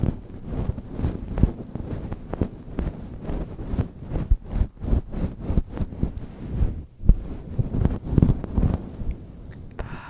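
A grey-white fluffy faux fur windscreen over a microphone is squeezed, rubbed and scratched by the fingertips and long nails of both hands. The result is a dense stream of low, muffled thumps and rustling, with many short sharp scratches and brushes over deep rumble.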